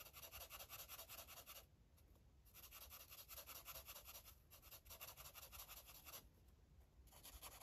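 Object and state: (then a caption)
Felt-tip marker on paper. An orange felt-tip marker colors a paper coloring book page with short, fast rubbing strokes. The strokes make a soft, bright, papery scratching that comes in quick bursts, with two brief quieter pauses in the middle and near the end.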